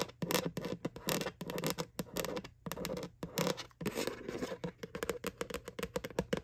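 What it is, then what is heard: Plastic bucket bottom, scratched. Long nails scratch back and forth across the flat bottom of a white hollow plastic Halloween Boo bucket from McDonald's. The result is a quick run of dry, rasping strokes with a hollow midrange tone around 480 Hz. Each stroke stops dead, with no ring.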